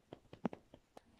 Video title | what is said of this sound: j'ouvre la machine go glam💅 | On secoue. Vous entendez le petit bruit.